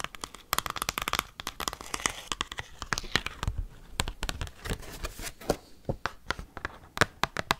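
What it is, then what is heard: Large glossy cardboard card. Paperclips rapidly tap an oversized glossy cardboard Pokemon trading card held close to the mic. The result is a fast, irregular stream of sharp, dry clicks and crinkly rustles with bright highs and almost no ring.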